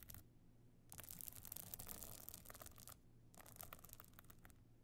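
Long nails scratch over the glittering stone and sequin chips of a small, flat, hollow evening clutch with a gold metal frame. Bright, dry scratching and crackling come in two bursts, with short quiet pauses between them. A faint low rumble runs underneath throughout.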